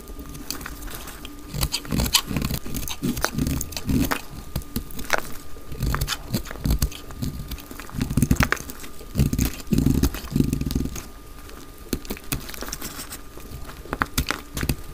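A solid translucent green glycerin soap bar held in the hand is sliced into thin curls with a utility knife blade. The cutting makes a dense run of short, crisp crackles and scraping snaps with a heavy low thud beneath and bright clicks on top, steady across the clip.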